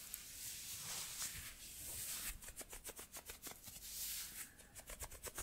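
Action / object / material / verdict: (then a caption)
scrape / thin cotton fabric gloves / cotton / none. Thin white cotton gloves worn on both hands are rubbed together, fingers and palms brushing against each other. A soft, bright, hissy fabric swish runs steadily for about two seconds, then breaks into a quicker series of about ten short rubbing strokes.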